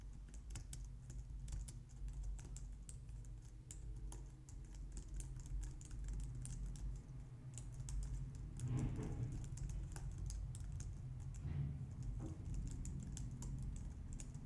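Long nails and fingertips type steadily on the keys of a compact low-profile white plastic computer keyboard. A continuous stream of light, bright clicks and taps rides over a steady low hum, with brief fuller bursts of key noise around the ninth and twelfth seconds.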